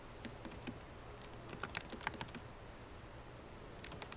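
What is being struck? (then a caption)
Laptop keyboard with plastic keys in aluminum case. Long nails and fingertips type on a 13-inch MacBook Pro keyboard, its black plastic keycaps set in a silver aluminum body resting on a wooden desk. Quiet, irregular bright taps and clicks die away instantly, with a denser cluster in the middle and a few more near the end.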